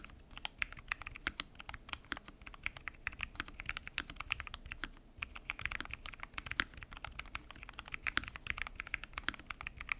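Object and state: Mechanical keyboard being typed on.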